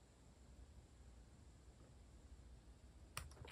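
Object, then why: Plastic mechanical keyboard. Keys are pressed by bare fingertips on a compact white-cased mechanical keyboard with a hollow case and plastic cat-themed keycaps, resting on a wooden desk. After about three seconds of quiet low rumble, three sharp, bright plastic clicks sound near the end, each decaying almost instantly.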